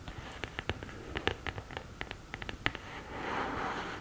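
Long green nails scratch the upright printed lid of an open cardboard eyeshadow palette, then move to the pans. About seventeen short, sharp, dry scratches and ticks come in quick bursts. They give way to a steadier, brighter continuous rasp that fills the final second.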